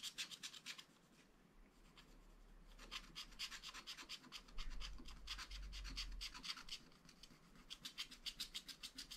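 A wooden stylus scratches continuously across the orange fish area of a wax-coated scratch art page. The result is a dense, rapid run of bright, rasping strokes that fade briefly and then pick up again, over a quiet low rumble.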